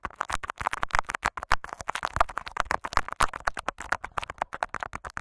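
Short fingernails of both hands scratch and crinkle clear Scotch tape wrapped over a microphone capsule. The result is a dense run of quick, close crackling scratches with bright edges and a low thump beneath many of them.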